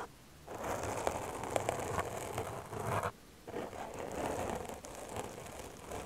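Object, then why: Foam microphone windscreen. Long dark-painted nails scratch the surface of a soft, porous black foam windscreen on a microphone. The result is a dense, crackly scratching and rustling that runs in two stretches, with a brief pause just past the three-second mark.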